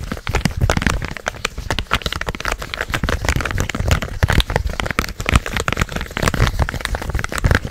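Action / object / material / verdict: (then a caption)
tap / plastic game controller / plastic / none. A purple hollow plastic gamepad is held close to the mic while fingertips tap and click its buttons and scratch its shell. The result is a dense run of short, dry clicks and scratchy crackles with a low, thumpy body and little ring.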